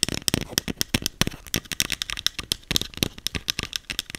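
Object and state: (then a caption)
Plastic spray bottle tapped. A small green plastic setting spray bottle with a clear cap, held in hand, is tapped and scratched rapidly with long acrylic nails. The result is a quick run of about two dozen sharp, dry plastic clicks and scratches, bright and crisp with almost no ring, and a light rattly texture between the taps.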